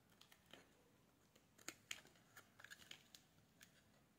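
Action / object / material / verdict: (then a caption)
scrape / bar of soap / soap / none. A solid pink bar of soap, held in a hand with black nail polish, is shaved with a metal blade. The result is a quiet series of short, crisp scraping and crackling ticks, mostly bright and high with almost no low end. Each stroke dies away almost instantly, and a few sharper snaps stand out near the middle.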